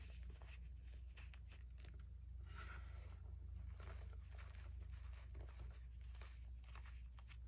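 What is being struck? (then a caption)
Pile of gym chalk powder. Fingertips with painted nails rub, scratch and sift through a pile of crushed grey gym chalk powder with small lumps on a white surface, while the palm presses down and crumbles the remaining lumps. Soft, dry scratching and crumbly rustles come in quick, uneven bursts over a steady low hum that dominates the quiet recording.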